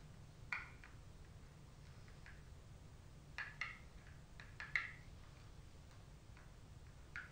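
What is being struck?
Cardboard makeup palette.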